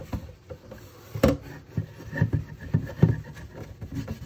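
A sponge scrubs the inner enamel of an empty red enameled cast iron pot with a cream interior, tilted in a sink. The strokes make irregular, dull, low rubbing swishes with short thuddy bumps, one sharper knock standing out early on.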